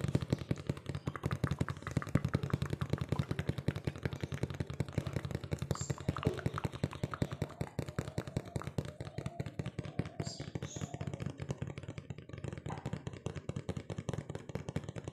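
A hollow, medium-sized printed cardboard Pure Magic cookie box that appears partly full is tapped fast with fingertips and nails. The result is a rapid, uneven stream of dull, low, boxy thuds with very short decay and faint clicky nail ticks on top, continuing for the whole clip.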